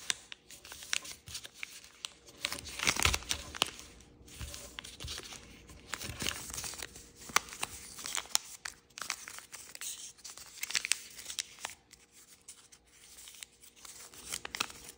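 A single sheet of thin red-floral chiyogami paper is folded into an origami crane on a light wooden table, with fingertips and nails creasing and rubbing the folds. Bright, dry crinkling and rustling are punctuated by many short, sharp crease snaps that stop instantly. The sound swells in a few denser bursts of handling across the clip.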